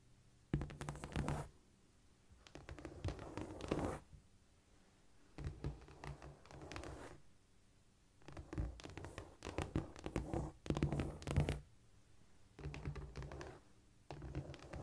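Long painted nails of both hands scratch across a flat, solid cork floor surface in repeated bursts of dry, raspy scraping with a low, muffled body. Brief quiet gaps fall between the bursts where the hands are lifted mid-stretch.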